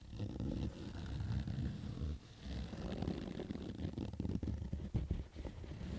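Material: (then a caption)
Fabric. Fingers and nails scratch and rub across the stitched rows of a black Adidas fabric baseball cap. The result is a steady, low, rough scraping texture with a dense run of short scratchy strokes and almost no bright high end.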